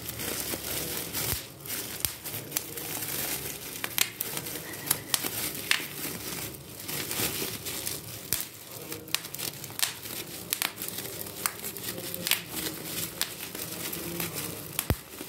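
A large sheet of clear plastic bubble wrap is crinkled while its air-filled bubbles are squeezed and popped with the fingers. Steady bright crinkling runs throughout, punctuated by many sharp, short pops that die away almost instantly.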